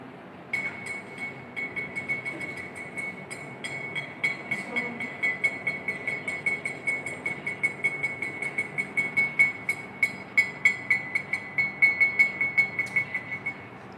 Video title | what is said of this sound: Tema 1: IPA-Bunyi #2 | Ternyata suara ketukan gelas dengan sendok yang ada di dalam air bisa terdengar oleh kita semuanya.